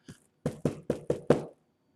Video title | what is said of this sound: #1 Wednesday Live stream | you can probably hear that they're not the solid core doors that i would rather have